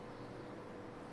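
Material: Nothing is struck.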